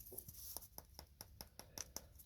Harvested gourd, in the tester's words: can hear it when i knock on it yeah it's dry on the inside